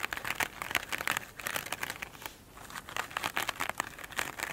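Long acrylic nail tips tap and scratch the glittery top of a flat oblong foam sponge lying on a table. The result is a dense run of quick, dry, bright crinkling scratches with almost no low end, easing briefly in the middle before picking back up.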